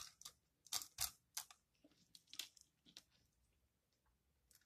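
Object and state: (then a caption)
Dry soap bar, crumbly. A metal blade with a yellow handle scrapes across the flat face of a solid green dry recycled soap bar held in hand, shaving off crumbly curls. About ten quick, dry, crunchy scrapes with bright, hissy texture come in uneven bursts, louder at first and then fading to softer scratches.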